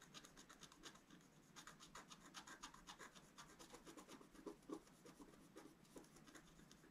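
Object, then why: Black-coated scratch-art card scratched with a wooden stylus. A wooden stylus scratches fine strokes into a flat sheet of scratch-art paper, a black coating over a colored foil layer, held flat on a table. The result is a quiet, dry rasping, heard as a quick, uneven run of short scraping strokes, about four per second, with a bright hiss.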